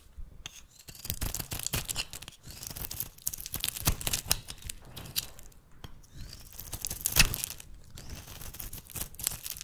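A metal blade shaves curling flakes off the end of a solid oval bar of rancid brown soap held in the hand. The result is a steady run of crisp, bright scraping and cutting strokes with a dry, crackly texture, each stroke dying away quickly.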